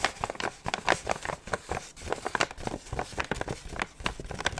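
A hollow, medium kraft paper gift bag printed with red hearts is held up in both hands and tapped and scratched with fingertips and nails. The result is a rapid, uneven series of short, dry papery taps and crinkly scratches with a bright, crackly edge, each dying away almost instantly.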